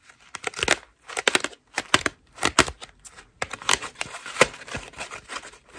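A hand-sized white foam bath loofah made of ruffled soft foam strips is held in both hands and scratched and squeezed with long pink acrylic nails. The result is bursts of bright, crinkly, scratchy rustling with almost no low end. The quick strokes come in clusters separated by brief silent pauses.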